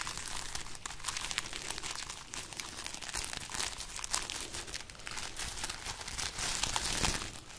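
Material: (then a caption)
Dried pods. Long nails scratch and rub a hanging bundle of dried red chili peppers with hollow, papery pods while the bundle is lightly shaken. A dense, bright, dry crinkling and rustling runs throughout, full of tiny crackling ticks, with slightly louder bursts around the middle and near the end before it eases off.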